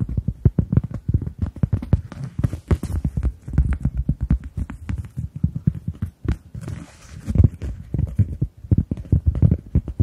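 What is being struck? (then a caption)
Cork coaster. A round, flat, solid, hand-sized cork coaster is tapped rapidly with the long nails of both hands. This produces a dense stream of dull, muffled, low clicks that die away almost instantly, with a soft throbbing feel like hoofbeats and almost no bright edge.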